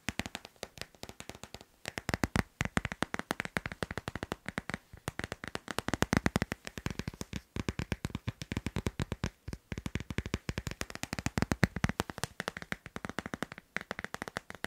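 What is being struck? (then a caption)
Hard plastic phone case on a smartphone. Fingernails tap rapidly on the back and edges of a hand-sized hard plastic phone case with a teal leaf pattern, fitted on a smartphone. The result is a fast, continuous stream of short, dry clicks with a weighty low body, little high brightness, and no ring, broken by a few brief pauses.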